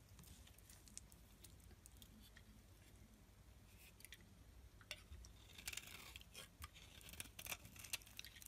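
A metal blade scrapes fine shavings off a solid black rectangular bar of soap held in the palm, while a white soap bar lies untouched nearby. Quiet, crisp, bright scratching and light crackling ticks run throughout over a low steady hum, growing louder and denser in the last few seconds.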